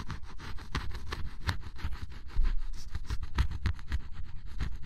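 A flat metal spatula-like blade scrapes the black coating off a red area of scratch-off cardboard jigsaw puzzle pieces, leaving black flakes behind. The result is a steady run of short, rough, dry scraping strokes with a heavy low rumble, growing a bit louder about halfway through.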